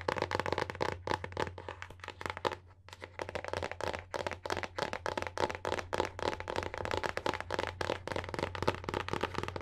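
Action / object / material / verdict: tap / hardcover book with paper-covered board cover / paperboard / none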